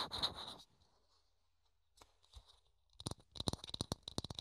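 A small, hollow, thin clear plastic dome is held in the hands while fingertips scratch and tap it. A bright, dry scratching burst opens the clip, followed by a near-silent pause with a couple of faint touches. Then a quick run of crisp, hollow plastic taps closes it, each one snapping off almost instantly.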